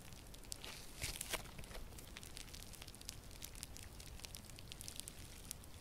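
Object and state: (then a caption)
Crunchy foam-bead slime. Yellow crunchy foam-bead slime is pulled apart and squeezed by both hands with purple nails. A quiet, steady stream of crackly crunching and bright little pops runs throughout, with a denser burst of crackles around the first second.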